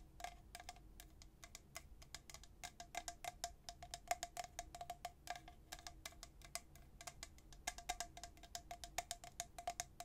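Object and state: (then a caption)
Stainless steel tumbler. A tall, hollow, white-coated stainless steel travel tumbler with a black plastic lid is held in one hand and tapped on its body by the fingertips and nails of the other. A quiet, steady stream of rapid taps follows, each a bright click with a brief metallic ping around 700 Hz that dies away almost at once.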